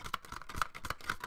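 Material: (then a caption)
Plastic. A plastic DVD case is shaken with a loose disc inside. The disc rattles and clicks against the case in quick, uneven taps, each with a bright, short plastic ring.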